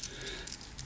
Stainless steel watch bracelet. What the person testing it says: it really rattles a lot let me demonstrate when I shake it you can hear it really rattles